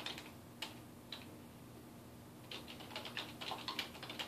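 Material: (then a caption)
Plastic. Fingertips type on a dark plastic desktop keyboard resting on a wooden desk, tapping the keys. A few isolated clicks come first, then a quicker, uneven run of bright, sharp key taps over a faint steady hum.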